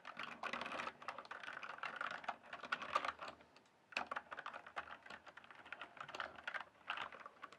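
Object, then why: Plastic mechanical keyboard. Fingertips type and tap on the keys of a full-size RGB backlit plastic mechanical keyboard with a hollow case. A rapid, steady stream of sharp, clacky keystrokes centers in the midrange around 1.2 kHz with bright edges and little low end. A brief pause comes near the middle before the typing resumes.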